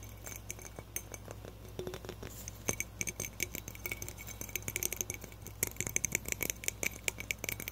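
A small hollow frosted glass light bulb with a metal base is tapped quickly with fingertips and nails, producing a rapid, uneven patter of bright glassy clicks and clinks with a high ring around 2.2 kHz. Each tap dies away almost instantly, and a steady low hum sits underneath throughout.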